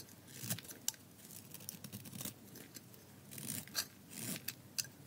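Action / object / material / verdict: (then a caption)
scrape / bar of dry soap cut with a metal blade / soap / none. A thin remaining slab of tan dry soap, held in the hand, is shaved with a metal utility blade in short scraping cuts. Each cut makes a crisp, bright scrape with sharp ticks and brief crackles as flakes come away, over a faint low rumble between strokes.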